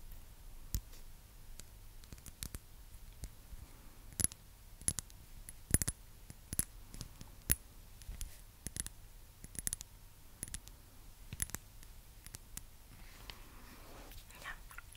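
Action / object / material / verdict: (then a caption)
tap / glass perfume bottle / glass / none. A partly full rectangular glass perfume bottle with amber liquid and a black cap is tapped with long nails. The result is a quiet, steady run of sharp, bright, very short clicks with a faint low hum underneath. A soft, breathy rustle comes in near the end.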